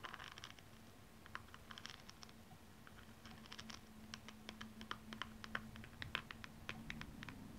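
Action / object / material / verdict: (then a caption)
scrape / high heel shoe covered in rhinestones / rhinestone / none. Long nails scratch the rhinestone-covered toe of a single blue rhinestone platform stiletto held in the hand. The result is a quiet, irregular series of sharp, bright ticks and scratchy clicks over a steady low hum.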